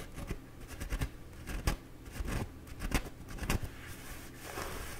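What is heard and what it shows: Fingertips and nails scratch and rub the surface of a bee-printed embossed paper towel roll held horizontally. The result is soft, dry scratchy rustles in irregular bursts, with brief bright scrapes standing out over a low, muffled rumble.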